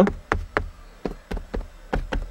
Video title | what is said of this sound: Tutorial izolat fonic stalpii de plastic dintre usi la Logan | nu se aude decât o chestie înfundată